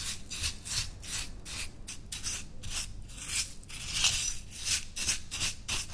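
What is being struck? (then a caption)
Glass cup of coarse salt scrub stirred with a metal spoon. A metal spoon scoops, stirs and scrapes coarse white salt scrub in a small clear footed glass dessert cup, about half full, resting on a white towel while the other hand, with long painted nails, steadies the cup. Repeated bright, gritty scraping strokes mix salt crunch with spoon-on-glass rasping, at an unsteady pace.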